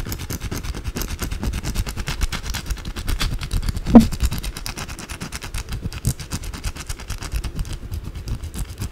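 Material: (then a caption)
Soap. Long blue acrylic nails scratch fast and aggressively at a white, solid rectangular bar of soap held in both hands over a pile of soap shavings. The result is a dense, continuous stream of rapid, rough scraping with a low, rumbling body, with one sharper, louder scrape standing out near the middle.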